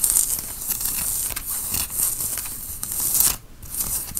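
Fingernails scratch a worn grey tie-dye cotton t-shirt at the shoulders and front. Bright, hissy rasping strokes run almost continuously, with a brief quieter dip near the end before the scratching resumes.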